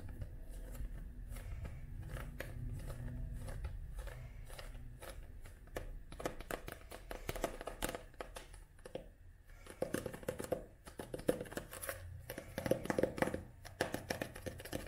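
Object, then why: Paperback book with card cover. Long nails tap on the glossy card covers of a paperback book held flat, and near the paper edges of its pages. After a few seconds of quiet low rumble, many quick, dry clicks come in dense bursts, some light and some sharper, with a faint papery rustle between them.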